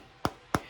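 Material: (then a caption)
Cement board. Two short, dull knocks on a wall patch of cement tile backer board with mortar screeded over it, each dying away almost at once. The knocks sound almost like real plaster, which is why this board is used to imitate plaster over large areas.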